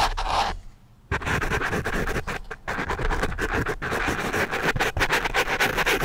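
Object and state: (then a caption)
Foam microphone windscreen scratched. The graphite tip of a wooden pencil scratches close against a black foam microphone windscreen. The result is a dense, crackly, broadband scratching with a bright edge and a soft low rumble. After a brief near-silent pause about a second in, rapid, uneven strokes continue steadily to the end.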